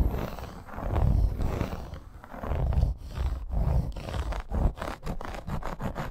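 A dark red embossed faux snakeskin leather bracer, a flat, fairly thin wrist guard with metal grommets, is scratched and tapped with long acrylic nails. Low, rumbling scratching swells and fades, then gives way to quick dry taps with short sharp clicks toward the end.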